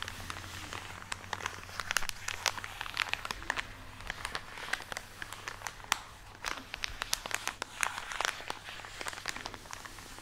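Fingernails scratch and squeeze a full plastic package of cotton pads, making a steady stream of bright, sharp crinkles and crackles. A faint low hum runs underneath throughout.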